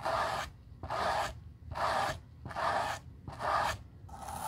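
A white-bristled brush sweeps across the nap of a black suede leather Gucci loafer with a gold horsebit during restoration. Each stroke makes a dry, scratchy swish centered in the midrange with a bright hiss on top. The strokes come in a steady rhythm, a little more than one per second, with quiet gaps in between.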